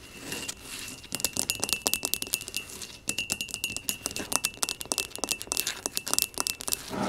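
A small, hollow, empty pot of speckled blue glazed ceramic, resting on a table, is tapped rapidly on its sides with long nails. The bright, clinky taps ring at a steady high tone near 2.7 kHz. The clusters of taps come in quick bursts with brief pauses between them.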